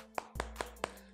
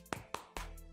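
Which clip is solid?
The second.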